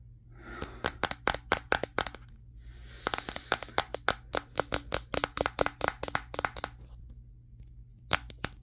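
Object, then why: Smartphone with glass back. Fingertips tap on the matte glass back of a Samsung Galaxy S23 phone held in the hands, around its camera. The sharp, dry, bright clicks come in quick runs with brief pauses and faint soft rubbing between them. Each tap stops instantly, with no ring.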